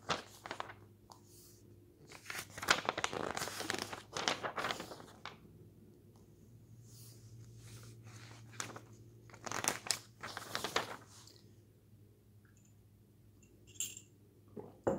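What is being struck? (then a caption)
Glossy paper magazine. A flat hand and fingertips turn the pages of an open glossy paper magazine on a table, rubbing and smoothing them down. Bright, crinkly rustles and sliding swishes come in bursts, separated by quieter stretches over a faint low hum.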